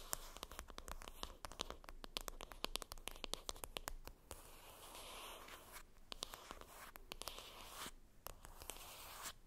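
Long acrylic nails scratch and tap the top of a flat, rectangular, hollow printed cardboard makeup palette box lying flat. Many quick, dry clicks sit over a steady, bright, papery scratching that centers around 1 kHz. Each tap dies away almost instantly with no ring, and the whole clip stays quiet.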